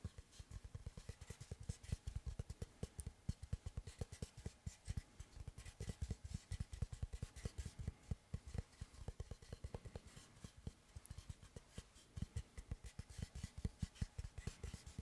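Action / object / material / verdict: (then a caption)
tap / round slice of solid wood / wood / none. Fingertips tap and scratch the cut face of a large, round, solid wooden tree-slice board held upright beside the microphone. Dozens of quick, quiet, dull knocks with almost no ring are heard, mixed with soft scratching across the grain.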